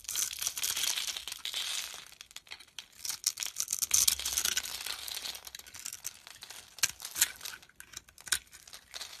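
A utility knife scrapes and carves shavings off a solid oval white soap bar with a pink outer layer, held in hand. It makes a continuous run of dry, crisp, bright scraping and crinkling strokes, with sharper flicks standing out near the end.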